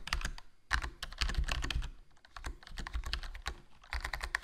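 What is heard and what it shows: Fingertips type continuously on a HyperX Alloy Core RGB plastic membrane gaming keyboard with a foam mod, a black plastic body, black plastic keycaps and a hollow case. The result is a steady run of soft, short keystroke clacks with a deep, thumpy low end and brief bright ticks, each dying away almost at once.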